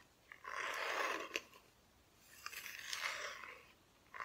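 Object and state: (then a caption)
Thin plywood decoration, scratched with nails. Long nails scratch the raw wood back of a solid, flat, thin plywood cut-out Christmas decoration. Two dry, crunchy scraping passes rise and fade, broken by a few short sharp clicks.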